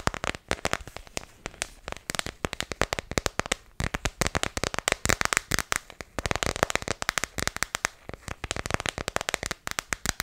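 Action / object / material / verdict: tap / thin clear plastic phone case / plastic / none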